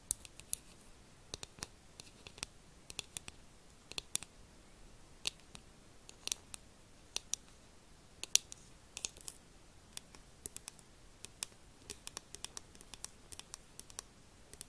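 A hollow, hand-sized, pink glossy plastic fox-shaped figure is tapped and scratched with long acrylic nails. Quiet, bright, dry clicks and taps sound in an irregular stream, with faint scratching between them. Each click dies away almost instantly.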